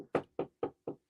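Knuckles knock on a wooden desk in four evenly spaced, short raps. Each knock is a dry, mid-pitched thud centered around 470 Hz that dies out almost immediately, with little low or bright content.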